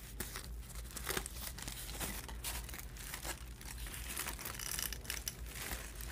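Fingertips and long painted nails press, lift and crinkle a thin, hollow stack of layered crinkled aluminum foil sheets resting on a table. The result is a continuous run of bright, crackling rustles with sharper crinkling bursts throughout, over a steady low hum.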